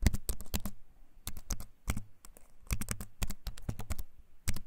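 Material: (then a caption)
Wood, plastic. Fingertips tap quickly on the plastic keys of a compact keyboard with a wooden frame, held up close, in uneven bursts of sharp, clicky keystrokes. Each click is short and crisp with a bright top, over a low, hollow body thump, and the keystrokes die away almost instantly.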